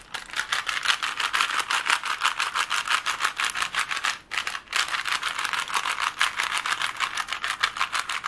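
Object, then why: Plastic puzzle cube. Clicks and rattles from a small hollow plastic Rubik's cube with colored stickers, held in both hands while its layers are twisted quickly and it is tapped with long nails. Dense, fast, bright clicking runs through the clip, with a brief pause just after the four-second mark before resuming.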